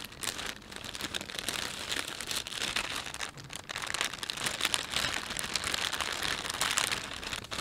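A thin, empty plastic panda shopping bag lies flat while both hands rub it with their fingertips in a massage-like motion. The result is a steady, dense, bright crinkling that swells and fades slightly across the clip, with almost no low end.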